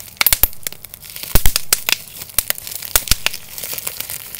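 A small, clear piece of air-filled plastic bubble wrap is held in both hands while the fingertips squeeze and pop its bubbles and crinkle the sheet. Sharp, bright pops snap out irregularly over a steady low crinkling rustle, each pop dying away almost instantly.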